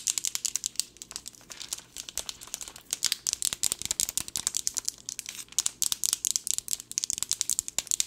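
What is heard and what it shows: A plastic pill bottle with a teal cap, holding pills, is held and tapped fast and aggressively with long nails. Rapid, irregular bursts of sharp, bright clicks carry a crinkly, rattling texture, with almost no low end. Each tap stops instantly, with no ring.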